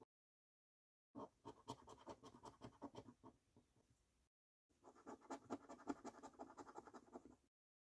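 A coin held between the fingertips scratches the latex coating off a thin, flat paper £15 "3x £1 Million Snack Stack" National Lottery scratchcard lying on a dark table. Two bursts of quick, uneven, raspy scraping strokes are separated by a short silence, each stroke dry and scratchy with no ring.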